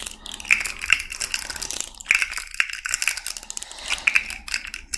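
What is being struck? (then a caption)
Jointed plastic fidget slug toy. A small rainbow fidget slug toy made of hollow, jointed plastic segments is held in both hands and twisted and bent with long nails. Rapid, bright clicking and ratcheting sounds crackle in dense bursts. The snaps are sharp and high with almost no low end or ring.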